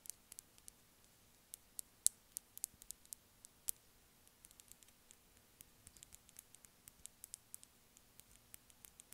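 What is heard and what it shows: Long nails lightly tap a small white hollow plastic earphone inline remote held up in one hand. About 25 quiet, bright clicks sound in an irregular run, each dying away almost instantly, over a faint steady low hum.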